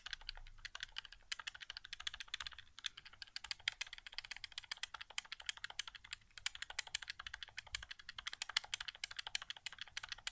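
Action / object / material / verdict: tap / plastic game controller / plastic / none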